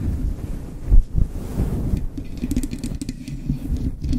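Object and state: Faux fur microphone windscreen being scratched.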